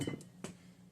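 A metal plug cut from the removed governor assembly is tapped into the engine block hole where the governor shaft was, on the stock 196cc engine of a Massimo MB200S. Three short metallic taps are heard, with a low steady hum underneath, and the tone of the taps changes as the plug sets against its shoulder, showing it is fully seated.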